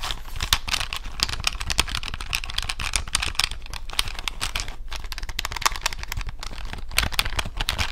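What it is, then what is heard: Plastic calculator buttons. A handheld plastic desk calculator with an LCD screen and push buttons is held up close to the microphone while its buttons are pressed and tapped with long nails and fingertips. A dense, rapid stream of short, bright plastic clicks and taps overlaps, each dying away almost instantly. A steady low hum sits underneath.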